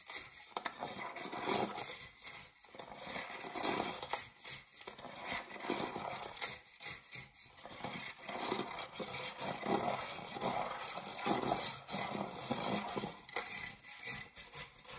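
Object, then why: Empty metal springform cake pan. Fingernails scratch the base and rim of an empty, dark metal springform cake pan. The result is a quiet, continuous scratching and rasping with a bright, metallic high sheen and little low end.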